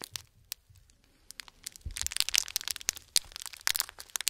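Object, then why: Plastic candy pouch with mints. A small white printed "Gold Mints" candy pouch, likely plastic and filled with mints, is held in both gloved hands with bare fingertips and crinkled and squeezed. It gives a dense run of bright, crackling crinkles and sharp snaps, mostly high-pitched with almost no low end, starting sparse and growing busier and louder.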